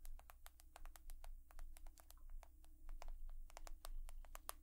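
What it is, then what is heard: Smartphone tapped with fingernails. Long nails tap rapidly on an iPhone, a smartphone of glass and metal, giving a quick, uneven stream of sharp, short, bright clicks. The clicks die away almost instantly over a steady low hum that fills the bottom of the sound.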